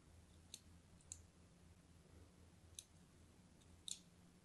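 A thin pointed blade scores a palm-sized, solid orange-and-white striped soap bar held in the hand in a crosshatch, with scratching and cutting strokes. Four short, bright, crisp snicks stand out clearly, each dying away almost instantly. A faint, steady low hum runs underneath throughout.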